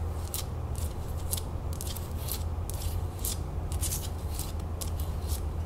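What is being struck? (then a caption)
Metal crown lid. Long nails scratch and tap the rim of a hollow gold and red enamel metal crown lid held sideways. Quick, bright scratchy bursts come one after another over a steady low hum.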